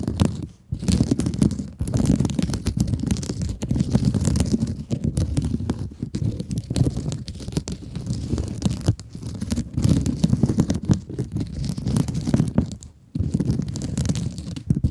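Long acrylic nails scratch a soft, squeezable blue scrub sponge with a woven mesh surface, making a dense, continuous scratchy rustle. The sound is heavy in the low end with crackly texture and little brightness. It runs almost unbroken, with brief pauses near the start and again around thirteen seconds.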